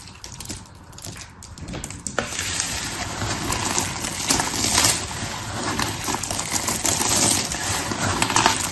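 Hands rake, rub and crush a pile of dry blue and pink soap shavings with their fingertips. A dense, continuous crunching and rustling with bright, crackly texture fills the clip, growing fuller after the first couple of seconds.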